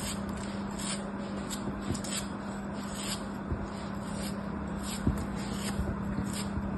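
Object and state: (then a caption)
Kinetic sand block. A thin metal blade is pushed into and scraped through a small, solid, moulded chunk of beige kinetic sand held in fingertips with long white-tipped nails, over a blue mat with other sand shapes nearby. A soft, steady, grainy scraping and crumbling runs throughout over a faint low hum, with three brief, sharper crackles standing out as the sand breaks apart.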